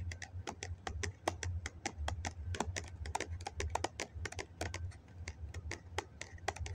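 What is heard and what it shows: A hollow, medium-size white foam cup is held in both hands while fingertips and nails tap rapidly along its side. The result is a dense run of short, sharp clicks with bright edges that die away almost instantly, over a steady low hum.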